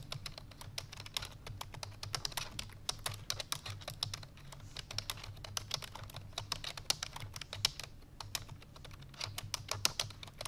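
Fingertips with long painted nails rapidly press the keys of a full-size black plastic computer keyboard resting on a white fur rug. A fast, steady stream of sharp, bright clicking taps stops almost instantly, over a faint low hum.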